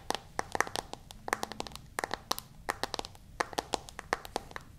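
Long fingernails tap and scratch across the glass screen of a smartphone in a white case. About two dozen sharp, bright clicks come in quick, uneven bursts, with faint scratchy friction between them at a quiet, close level.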